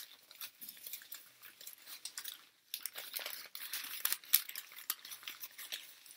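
A handful of torn, crumpled, thin and light white printer paper sheets is held close in both hands with painted fingernails and squeezed and rubbed. This produces quiet, dense, bright crackling and crinkling, mostly in the high range with almost no low end. It comes in rapid irregular bursts, with a brief near-silent gap just before the middle.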